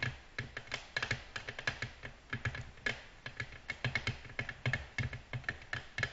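Long natural nails gently tap a flat, solid, glossy black glass tabletop with both hands in dense, fast nail-tip taps. The result is a rapid patter of sharp, bright clicks with a glassy ping near 1.7 kHz and a soft low thud under each tap. Every tap dies away almost instantly.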